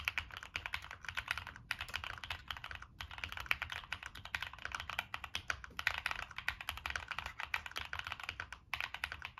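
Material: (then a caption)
Plastic. Fingertips type steadily on a Monsgeek M1 mechanical keyboard with NK Cream switches, a dark metal case and purple and black plastic keycaps. The result is a rapid, continuous run of bright, crisp clacks with very short decay, broken by a few brief pauses.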